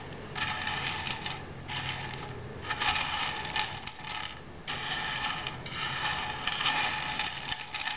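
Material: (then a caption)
Seed shells. Fingertips rake and rub through a large loose pile of dry, hollow, striped in-shell sunflower seeds on a white board. The shells make dense, bright, crackling rattles and clicks that come in swelling bursts with brief quieter pauses between strokes.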